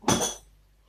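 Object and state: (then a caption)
Frozen ice cream maker freezer bowl. An ice cream maker's fast-freezing bowl, which holds liquid coolant, is shaken and gives two quick, bright clinking knocks that die away within about half a second. No sloshing of liquid is heard, so the coolant is fully frozen and the bowl is ready to use.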